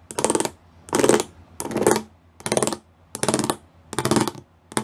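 Fingertips and nails tap and scratch close up on a flat grey plastic panel covered in rows of small raised square pyramid studs. Seven short bursts of dry, rapid clicking and scraping repeat at a loose rhythm, each with a bright, crisp edge and a soft midrange body. Between bursts there are brief quiet gaps.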